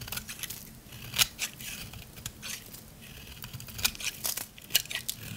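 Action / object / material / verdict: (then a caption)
scrape / bar of soap carved with a blade / soap / none. A utility knife blade scrapes and carves shavings from a solid, dry lavender soap bar. The clip is a run of crisp, bright, dry scraping and crunching strokes, punctuated by a few sharper, louder snaps. There is almost no low end and no ring after each cut.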